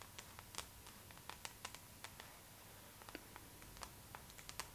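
Long pink acrylic nails tap and scratch the glossy paper cover of a thin, flat Vogue magazine, first held upright and then laid flat. About 15 quiet, sharp, bright clicks ring out over a soft, steady hiss, each dying away almost at once. A faint constant tone sits underneath.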